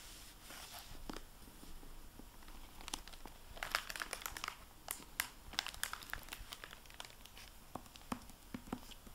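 A medium-sized, solid hardback library book, "Double Eagle", lies closed on a wooden table in its glossy plastic-covered paper dust jacket, with an unused microfiber cloth nearby. The book is turned from back to front, then long painted nails and fingertips tap and rub the cover. This makes quiet, bright crinkles with sharp clicky taps over a soft rustle.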